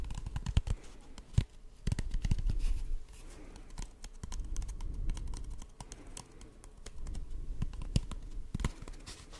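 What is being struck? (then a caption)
Cardboard tube. An empty, hollow brown cardboard tube held close to the microphone is tapped and scratched with fingertips and short nails. Quick, dull, low hollow thumps come in irregular bursts over a soft, continuous scratching rustle, with each tap dying away almost instantly.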